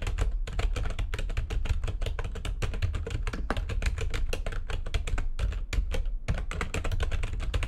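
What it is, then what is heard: Plastic computer keyboard being typed on. Rapid typing with long nails of both hands on a full-size plastic backlit computer keyboard gives a dense, continuous stream of short, crisp clicks and taps with bright upper edges. A steady low rumble sits underneath the keystrokes throughout, with only a few brief pauses in the rhythm.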